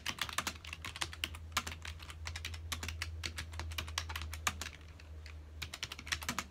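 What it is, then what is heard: Plastic computer keyboard being typed on. Fingertips of both hands type quickly on a full-size black plastic computer keyboard with a hollow key housing, resting on a dark desk. A fast, dense run of bright, short key clicks and clacks rises over a steady low hum, each keystroke dying away almost instantly.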